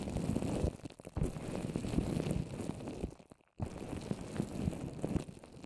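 Both hands tap with long orange nails across the top and sides of a microphone coated in wet white papier-mâché paper over plastic wrap, shaped into a rounded dome. The result is a dense run of muffled, low thumps and soft crackles with almost no brightness. The tapping pauses briefly near the one-second mark and drops to near silence just past three seconds before resuming.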